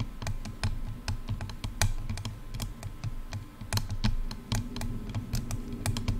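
Long dark-red nails tap quickly on both sides of a headphone's silver, hollow plastic ear cups. The result is a rapid, uneven run of short, bright clicks that die away almost at once, over a steady low hum.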